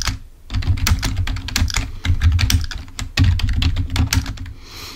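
Fingertips type on the keys of a full-size black plastic Microsoft keyboard resting on a table. The result is a rapid, steady stream of tapping with bright, sharp key clicks over a dull, low thump. The typing pauses briefly near the start and fades off at the end.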